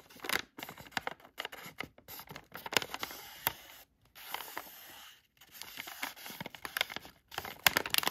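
A filled, palm-sized yellow Halls cough drop bag made of thin plastic foil has its front surface traced and scratched with a thin black tool. Bright, crinkly scratches and quick ticking taps come in uneven bursts, with a few longer, steady hissing strokes as the tool drags across the foil. The sound is crisp and close with almost no low end, and each scratch stops dead.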